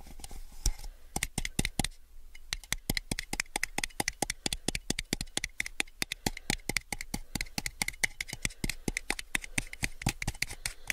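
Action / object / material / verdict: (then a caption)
tap / thin plastic cup / plastic / none. Fingernails tap rapidly along the side of a small, hollow, empty clear plastic cup held sideways. They produce a steady stream of sharp, bright clicks with a light hollow body and very short ring, with a brief slower pause near the two-second mark.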